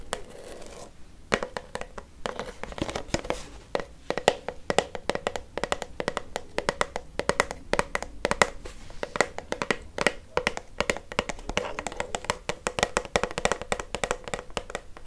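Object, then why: Plastic shampoo bottle. A teal plastic shampoo bottle, hollow and about 20 cm tall, is held in the hand and tapped with long fake nails. Many quick, dry clicks and taps with a faint hollow ring come in rapid, uneven bursts, mixed with light scratching against the plastic.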